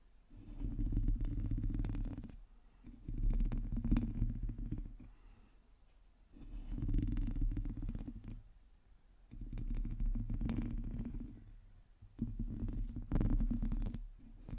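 Long teal nails scratch the hollow domed metal mesh grille of a black microphone, mostly with one hand on the upper grille. Five swelling bursts of dense, low, rumbling scratching are heard, each with faint brighter ticks, separated by short near-silent gaps.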